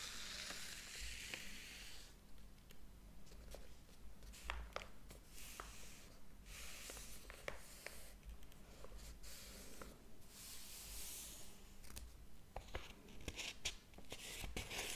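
Fingertips rub along the paper page edges of a large, thick hardcover book lying open on a table and turn its pages. Soft, bright papery swishes and rustles come in broad bursts, dotted with short crisp ticks and crackles over a steady low hum.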